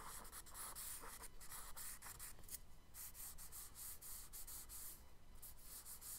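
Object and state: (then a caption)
Charcoal rubbed on kraft paper. A charcoal stick is rubbed and scratched along a kraft paper sketchbook page in longer strokes to shade the water on the right. Soft, dry hissing scrapes come in quick repeated strokes with bright, airy texture over a low, steady rumble.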